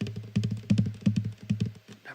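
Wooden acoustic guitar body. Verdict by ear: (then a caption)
Hollow. Fingers tap gently on the wooden body of an acoustic guitar in a quick, uneven series of soft knocks. Each tap gives a low, hollow, boomy thump around 130 Hz that dies away quickly. The body sounds louder and more hollow than the dense neck because the inside of the guitar is hollow.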